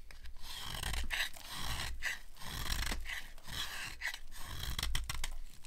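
A metal blade scrapes and carves the edges of a dry, solid cream-white soap bar with silver paint remnants and an embossed logo. Repeated dry, crunchy scraping strokes sound over a steady low rumble, with bright rasping detail on each cut.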